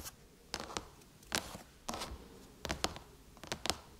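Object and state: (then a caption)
Aluminum laptop lid tapped with fingernails. Long chrome-painted nails tap on the silver aluminum lid of a MacBook. Nine short, dry, bright clicks come in uneven pairs and singles, each dying away almost instantly over a quiet background.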